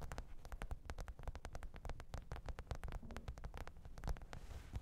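Long pointed nails tap and scratch the top of a black, textured faux-leather hard-shell microphone case with a zipper, lying flat on fur. A quiet, steady run of short, dry clicks with soft low thuds underneath and bright ticking edges, with brief scratchy passages between the taps.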